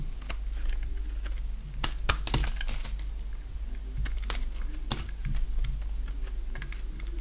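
A box-cutter blade shaves and cuts a solid oval bar of dry green soap held in the hand. Sharp, bright crackling snaps and short scrapes come in quick irregular bursts over a steady low hum.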